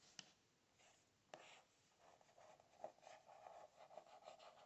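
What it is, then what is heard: Spiral notebook with cardboard cover. A fingertip and nail tap and scratch the cardboard cover of a closed spiral notebook printed with "today is a new beginning." Quiet, sharp, dry taps stand out over a papery scraping and rubbing that grows steadier toward the end, with little low end.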